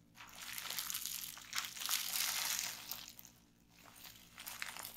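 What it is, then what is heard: Plastic bubble wrap being crinkled. A bunched sheet of clear plastic bubble wrap is squeezed and twisted in both hands, popping the bubbles and crinkling the plastic. The sound is a dense, bright crackle of sharp pops and rustling that swells, eases off briefly, then picks up again.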